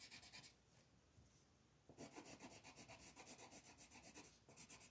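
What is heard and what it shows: A black colored pencil tip rubs across a thin, flat paper coloring page in dense, fast shading strokes. A brief burst of scratchy strokes gives way to a quieter soft rub, then a steady run of quick, rhythmic rasping strokes, about four per second, with a bright, papery hiss.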